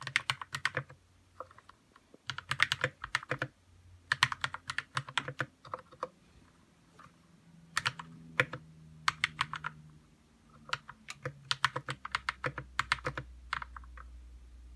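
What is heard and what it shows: Fingertips type on a white 60% RK61 mechanical keyboard with plastic keycaps and lubed red switches. Quick, bright, clacky key presses come in bursts separated by short pauses, each click dying away almost instantly. A faint low hum runs underneath.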